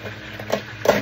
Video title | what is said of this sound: Paborito ni idol@JaperSniperOfficial@LouieTVLouieTV@latomanilabay | ginagayat na natin o. Pakinggan nyo, ang lutong